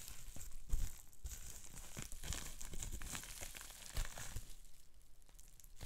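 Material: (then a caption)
Plastic. Fingertips squeeze, pop and crinkle a small piece of green-tinted plastic bubble wrap with small air bubbles. A continuous bright crinkling rustle runs throughout, broken by sharp crackling pops, with the loudest ones near the start and again around four seconds.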